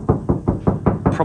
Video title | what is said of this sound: 2025 Honda Jazz Full Soundproofing Package with an Audison Sub Upgrade | probably a little bit more tinny. That ringing is obviously just the metal.